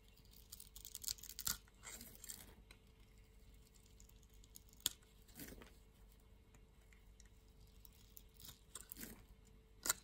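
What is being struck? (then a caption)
Bar of soap scraped with a knife blade. A solid green-and-white striped soap bar held in the hand is scraped with a utility knife blade to make soap flakes. Quiet, bright scratchy scrapes and crisp crunching bursts come and go over a low, steady background hiss.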